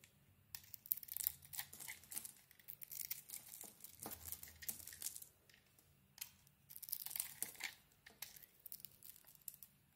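A knife blade scrapes crumbly flakes off a solid soap bar with a green dotted coating and a white core, held in the hand. Quiet, bright, crackly scraping comes in dense bursts of tiny grains, pauses briefly near the middle, then resumes and fades into soft crinkling.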